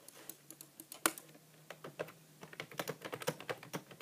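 A grey, hollow plastic computer keyboard with plastic keys is typed on continuously with the fingertips of both hands. About 25 quick, dry clicking key presses follow one another over four seconds, with one sharper, louder tap near the one-second mark. A faint low hum sits underneath.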